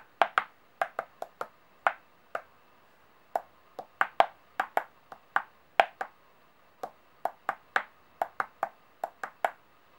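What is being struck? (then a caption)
Brass-toned metal coins. About ten large gold-toned, brass-colored solid metal coins on a white surface are tapped, slid and pushed by long painted fingernails. There are 26 short, sharp metallic clicks, unevenly spaced, each with a brief bright ping centered near 700 Hz that dies away almost instantly, against a quiet background.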